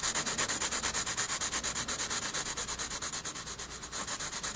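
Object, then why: Graphite pencil on paper sketchbook page. A graphite pencil held at a low angle rubs dense shading strokes across a page of a spiral-bound paper sketchbook. About 37 quick, steady back-and-forth strokes make a bright, hissing scratch, each one a short swell that fades slightly toward the end.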